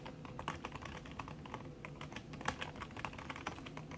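Fast typing with fingertips and long red nails on a backlit aluminium laptop keyboard whose plastic keys sit under a red silicone skin. A quick, steady stream of soft, muffled key taps with bright clicky edges, each dying away almost at once over a low, dull thud.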